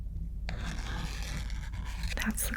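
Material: Card.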